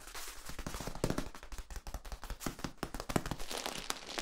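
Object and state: Corrugated plastic tube.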